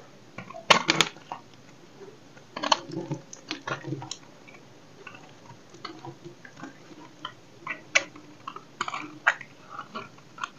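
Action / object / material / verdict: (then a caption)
scrape / bar of soap cut with a knife / soap / none. A solid rectangular dry soap block, held in the hand, is cut and scraped with a dark knife blade. The result is a series of short, dry, crisp crunches and scraping strokes with bright high edges and almost no ring, separated by quiet gaps.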